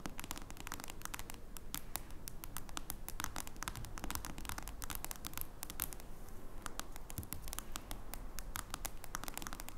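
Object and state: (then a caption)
Smartphone glass screen tapped and scratched by fingernails. Long nails tap and scratch the glass screen of a smartphone with a metal frame as it lies on a wooden table, the fingers lifting between strokes. Quick, irregular clicks and short scrapes ring out bright and sharp over a steady low rumble, continuing at an even level throughout.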